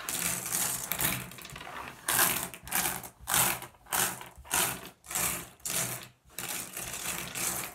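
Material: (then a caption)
Glass. A pile of small, solid, blue iridescent flat glass gems on a wooden surface is raked and shuffled by fingertips. Bright, dense clicking and clattering comes in a series of rising and falling swells, with a quieter, steadier rustle at the start.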